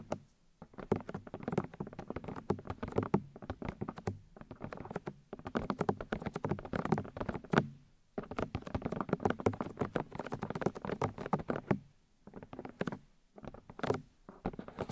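Long nails tap rapidly on the white plastic ear housings of a 3Dio binaural microphone, striking the ear discs. The result is a soft, dull, pattering stream of short, dry clicks weighted toward the low end, coming in fast bursts separated by brief pauses.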